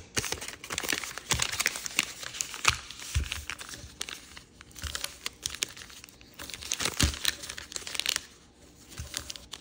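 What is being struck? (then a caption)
Sheet of origami paper. Fingertips and nails crease and rub the folds of a multicolor rainbow origami paper sheet folded into a crane base. Dense, bright crinkling and crackling comes in quick dry bursts with occasional sharper snaps. Quieter rustling sits between the louder stretches.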